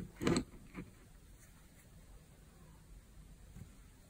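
A utility knife blade scrapes and carves a solid green oval bar of dry soap held in the hand, cutting it into crunchy flakes. Two short, crisp crunches are heard, a loud one followed by a softer one, then near silence with a faint scrape at the end.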